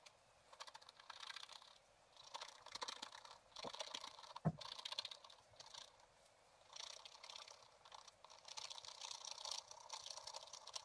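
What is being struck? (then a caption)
Wooden stylus on coated scratch-art paper. A wooden stylus scratches the lower area of a flat sheet of black coated scratch-art paper in a spiral book, using repeated short strokes. Dry, bright scratching comes in bursts separated by brief quiet pauses, with one sharper tap partway through.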